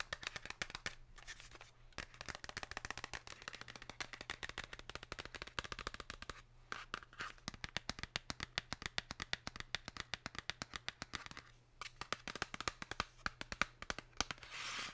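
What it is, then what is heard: Cardboard chocolate box tapped with fingernails. Long pink nails tap and scratch the printed face of a Lindt Excellence cardboard chocolate box held in the hand. Rapid, sharp, dry clicks run in quick bursts with short pauses, with a bright scratchy rasp near the end and a faint low hum underneath.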